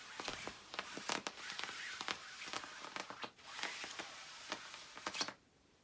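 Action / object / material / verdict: scrape / nylon puffer jacket / nylon / none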